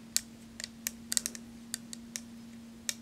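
Long nails tap a small, round, silver-toned metal compact with a centre emblem, hollow and closed, held in both hands. About eleven sharp, bright clicks land at uneven intervals, each dying away almost instantly, over a faint steady low hum.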